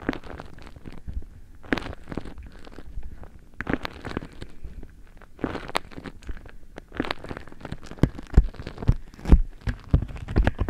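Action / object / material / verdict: scrape / beeswax-coated cotton food wrap / waxed cotton / none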